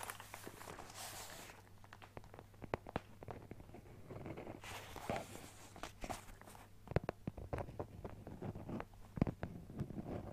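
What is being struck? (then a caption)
Fabric-covered hard-shell carrying case. Fingertips and nails tap and scratch the fabric surface of a closed, hollow, fabric-covered hard-shell Nintendo Switch carrying case with a teal-and-white leaf print. The result is a dense run of soft, dull taps mixed with airy scratching bursts, with a low steady hum underneath.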